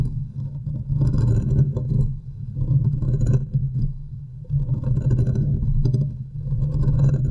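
Long nails from both hands scratch around the top of the hollow metal mesh grille of a large USB microphone. The result is a deep, boomy rumble centered near 145 Hz, with dense scratchy rasping that swells and fades in uneven waves.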